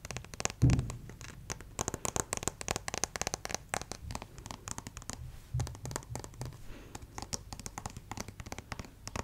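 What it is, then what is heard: Plastic acupuncture figure. A white plastic acupuncture model doll is held close to the mic while fingernails scratch and fingertips rub across its chest and shoulder. The result is a dense, uneven run of quick, dry scratching clicks with bright edges, broken by a few heavier, muffled low bumps near the start and in the middle.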